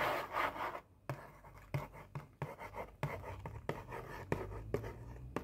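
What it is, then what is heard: Hollow cardboard cookie box. Long painted nails trace and scratch across an opened, hollow Oreo cookie box made of printed cardboard. A dry, scratchy rasp leads off, then after a brief pause the nails drag over the surface, broken by a string of sharp clicking taps with a hollow, low thump beneath.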